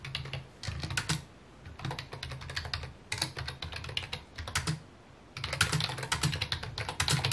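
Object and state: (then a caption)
Plastic computer keyboard being typed on. A full-size white and mint plastic keyboard with hollow key housings sits on a wooden desk and is typed on with fingertips in rapid bursts, pausing briefly near 1.5, 3 and 5 seconds. Each key tap gives a short, dry click with a hollow low thump beneath and a bright clack on top, dying away almost at once. The final burst is the loudest and densest.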